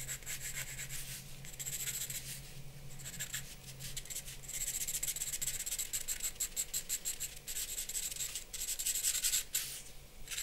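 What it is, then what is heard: Charcoal scratching on drawing paper. A charcoal pencil tip scratches short shading strokes across a large white drawing paper sheet resting on a black board on a wooden desk. The result is a dry, bright, raspy scratching in quick, repeated bursts, with a faint low hum underneath in the first half.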